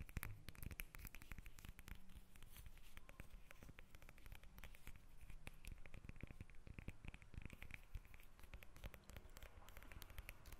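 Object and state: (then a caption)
Lemon tapped and scratched with fingernails. A whole yellow lemon held above a microphone has its peel tapped and scratched with long red nails. The result is a steady, quiet stream of rapid, dry taps and scratchy patter, heavy in the low end, with each tap ending almost instantly.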